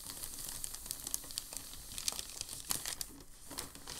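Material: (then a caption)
Paper. A hand rubs and presses a large, thin, creased sheet of crumpled packing paper against a dark table with the palm and fingertips. The result is a continuous run of bright, crisp crinkles and crackles with sharper snaps standing out, each dying away almost instantly over a faint low hum.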